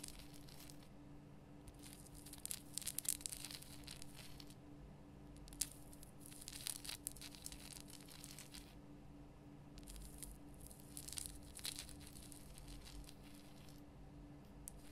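Long painted nails scratch the rough surface of a large, solid, lit pink Himalayan rock-salt lamp. Quiet bursts of bright, dry, crackly rasping come in clusters, separated by short pauses. A steady low hum runs underneath throughout.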